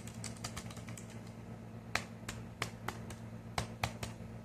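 Short fingernails tap on the flat, dark grey plastic underside of a thin wireless keyboard, a hollow casing held up in the air. A rapid run of light, clicky taps gives way to sharper, brighter knocks, each dying away almost at once over a steady low hum.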